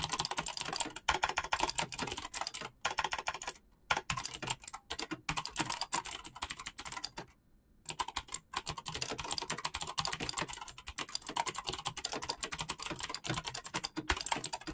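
Fingertips type fast on a black mechanical keyboard with clicky switches and PBT plastic keycaps. It makes a dense, steady stream of short, bright clicks that die away almost at once. The typing is broken by brief pauses near four and seven and a half seconds.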